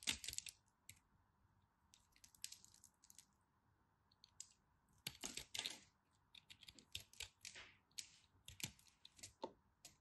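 A knife tip cuts crumbs from a small, crumbly chunk of cream-colored dry soap, making quiet, crisp, bright crackling and scratching bursts in irregular clusters. A faint steady hum sits underneath throughout.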